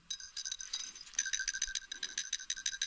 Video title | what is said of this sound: 68 Ford C6 Auto Transmission Rebuild & Assembly Complete | you hear it rattling it's good